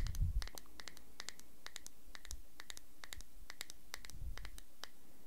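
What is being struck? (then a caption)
Small thick-walled glass cream jar with metal screw lid. A small, thick-walled clear glass cosmetic cream jar with a shiny gold screw lid is held in one hand close to the recorder while fingertips and nails scratch and tap its glass body and lid. Quick, bright clicks and scratchy ticks come one after another over a low rumble, with a few soft bumps at the start and near the end.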